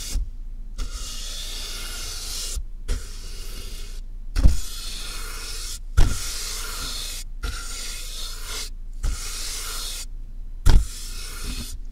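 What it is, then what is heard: Cardboard box brushed. Soft makeup brushes, first one and then two at once, are rubbed and brushed across the top of a medium, hollow, closed cardboard box with a taped seam and a microphone inside. Each long stroke makes a bright, airy scratching hiss, separated by short silent gaps, with occasional low, hollow thumps when the brushes land on the box.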